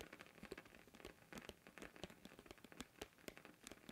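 A thin, round blue plastic container lid is held edge-on in both hands while fingertips tap and scratch along its rim. The result is a quiet, rapid run of short, dry clicks and crinkly scratches with bright, crackling highs and almost no ring after each tap.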